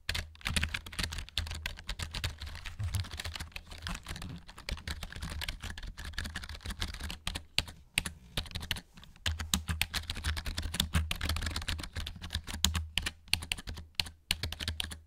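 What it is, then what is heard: Plastic keyboard keycaps tapped. Fingertips rapidly tap the plastic keycaps of a black plastic RGB-backlit gaming keyboard held upright in front of a microphone. The result is a dense stream of short, dry, bright clicks and clacks over a steady low hum, with brief pauses around the 8 to 9 second mark.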